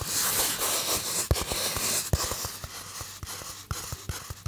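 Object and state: Polystyrene foam box.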